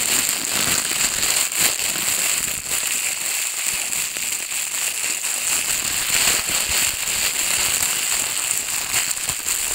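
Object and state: Crumpled plastic bag.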